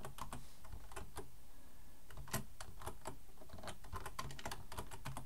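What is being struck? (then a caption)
Plastic computer keyboard. Fast typing on a black plastic full-size keyboard resting on a wooden desk, one hand tapping the keys with its fingertips while the other rests near the front edge. The result is a quiet, steady stream of rapid key clicks with a soft, low thud under each stroke.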